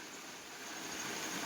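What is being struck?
Nothing is struck.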